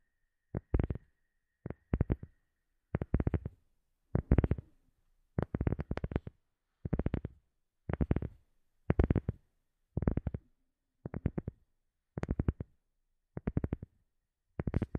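A round, flat black rubber sheet held behind the microphone is tapped with the fingertips and nails of both hands. Thirteen quick bursts of rapid, dull, low-heavy taps are separated by short silences. Each tap dies away almost at once.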